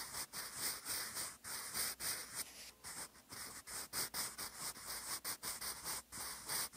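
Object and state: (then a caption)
Pencil writing on a paper notebook page. A sharpened wooden graphite pencil writes cursive on a flat, lined grey paper notebook page, its tip scratching across the surface in writing strokes. The sound is a bright, hissy scratching that comes in repeated short bursts with brief pauses between strokes and has almost no low end.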